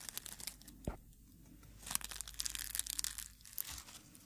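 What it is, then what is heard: Dried rose, dry and brittle. A dried dark red rose head is held in the hand while fingertips crumple and rub its dry petals. The result is a soft, bright, papery crinkling and crackling in uneven bursts, with one brief low thump near the start.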